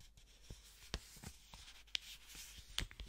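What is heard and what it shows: A single thin blue paper banknote is held close to the mic by black-gloved fingers, which crinkle and flick it. Quiet, bright papery crackling runs throughout, punctuated by about five sharp flicks or snaps that die away almost at once.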